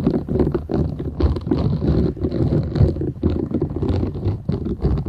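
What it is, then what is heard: Silicone scrubber sponge being scratched. Long nails scratch the short bristles of a flat, thin, solid purple silicone scrubber sponge held folded in both hands. The result is a dense, continuous, low rumbling scratch that surges and dips in quick uneven bursts, with little high-end brightness.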